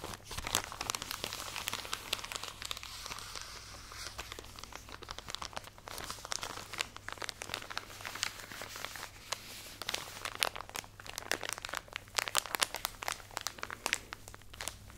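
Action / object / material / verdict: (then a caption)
scrape / plastic package of cotton pads / plastic film / none. A full plastic package of cotton pads is squeezed and scratched with long nails close to the microphone. Dense, bright crinkling and scratchy crackles run throughout with no pauses, over a faint steady low hum.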